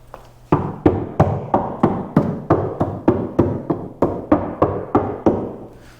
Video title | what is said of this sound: 2023 Porsche 911 GT3 - Sound Deadening Noise Reduction On 992 Using ResoNix - Part 4: Rear Interior | This driver's side sounds super hollow. There's a lot of rattles, like when you do knock it.